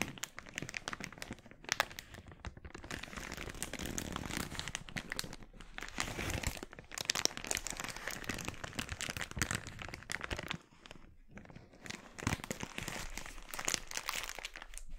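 Fingers twist, scrunch and crinkle an empty, glossy red, thin polyethylene mailer bag held over a wooden board. The result is a dense, continuous run of bright crinkling and crackling, with brief quieter gaps and no lingering ring.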